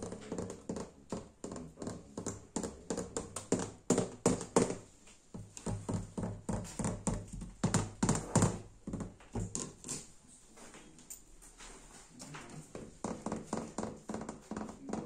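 Fingernails tap and scratch the smooth surface of an old varnished wooden door or cabinet panel, indoors in an old abandoned house. Rapid, uneven, dry wooden taps with almost no ring come in dense clusters, easing into softer scratching and lighter taps around the middle before the tapping picks up again.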